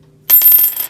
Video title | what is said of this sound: 1950s Coin Prices, Vintage Poured Silver Ingots, Silver Half Dollars, Coins, Jimmy Carter, 1960s Ads | it has that ring that's a nice ring